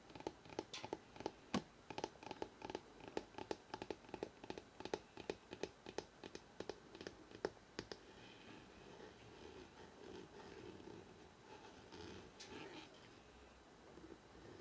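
Fingertips tap and scratch the spine of a thick hardcover book held in the hands. For the first eight seconds, quick, crisp taps with a hollow mid-range knock near 420 Hz follow one another at an uneven pace. The tapping then gives way to a soft, continuous scratching along the spine, with a few brief bright taps near the end.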